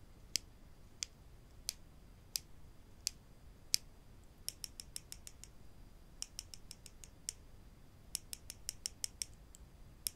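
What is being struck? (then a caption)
Wooden spring clothespins. Two small, solid wooden spring clothespins are held in the fingers and tapped and clicked against each other, giving 28 sharp, bright clicks that die out instantly. The first six taps come slowly and evenly, then the clicks come in quicker bursts over a faint low hiss.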